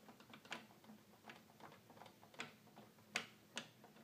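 Fingertips tap and press the keys of a hollow red plastic toy keyboard repeatedly, producing seven dry mechanical clicks at an uneven pace. The quiet clicks are bright and short, with almost no low end, and each dies away almost instantly.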